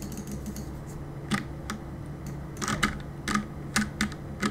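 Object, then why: Mechanical keyboard with plastic keycaps. Fingertips tap the plastic keycaps of a black mechanical keyboard, producing short, sharp clacks in an uneven typing rhythm. Each keystroke snaps bright and dies away almost instantly over a faint, steady low hum.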